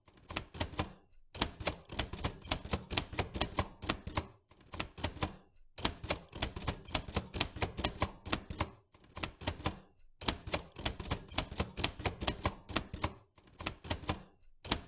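Both hands type with their fingertips on the round keys of an old, vintage metal manual typewriter, seen close up. Rapid, sharp, dry clacks come in bursts separated by brief pauses. Each strike is bright and cut off almost instantly with no ring.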